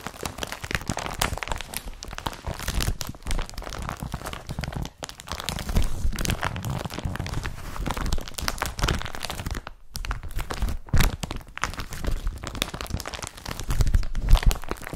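The empty, flat blue woven polypropylene surface of an IKEA BRATTBY carrier bag is scratched and rubbed with the fingertips and nails of both hands. This produces a dense, continuous crinkling, scraping texture with rough bursts, and most of its weight sits in the low end. Brief near-silent gaps break it up around 5, 10 and 11 seconds.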